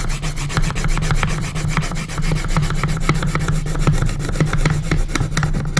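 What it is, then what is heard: Pencil scratching on a wooden box lid. A graphite pencil scratches dense cross-hatching across the wooden lid of a small hinged wooden coffin-shaped box. The result is a continuous, rapid series of dry, raspy scratching strokes over a steady low, woody rumble.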